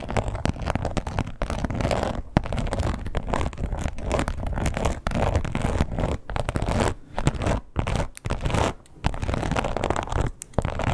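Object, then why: Embossed leather wallet. Long acrylic nails scratch quickly across the embossed scales of a red croc-textured leather wallet with a strap. The result is a dense, rough scratching that runs almost continuously, broken by a few brief gaps.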